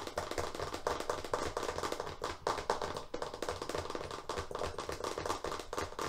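A wrapped FrogTape roll of paper masking tape on a hollow cardboard core is held upright in both hands and fast-tapped with long fingernails on its plastic-covered face. The result is a rapid, continuous patter of crisp, dry clicks centered in the midrange, each tap dying out almost instantly with a slight hollow resonance.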